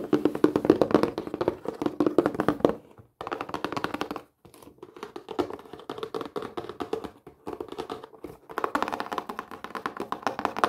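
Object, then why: Printed cardboard box. Long painted fingernails tap and scratch across the face and edges of a flat, rectangular, hollow printed cardboard craft kit box. Quick, irregular clicky taps with a hollow, mid-pitched knock come in several dense bursts separated by brief silent pauses. Each tap is dry and dies away almost at once.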